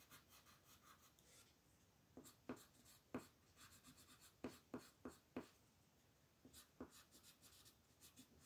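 A purple colored pencil, held by a hand with long painted nails, rubs and scratches across a flat white paper sheet printed with a mandala as it colors on a table. Quiet, soft, papery scratching runs throughout, broken by several sharper, brighter strokes that stand out from the steady rubbing.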